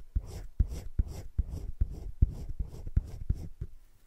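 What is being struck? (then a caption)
Colored pencil on thick drawing paper. A hand shades with a teal colored pencil in short scratching strokes on thick cream drawing paper in a spiral-bound drawing book lying flat. The strokes come as a steady run of quiet, dull, low scratches with soft breathy hiss between them. Each stroke stops dry with no ring.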